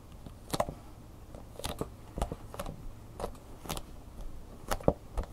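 Long nails tap on the front and edge of a hollow clear plastic blister pack with a cardboard insert, holding a flash drive. About a dozen sharp, light plastic clicks ring out, each with a bright high tick, a hollow body and a very quick decay, over a faint low background hum.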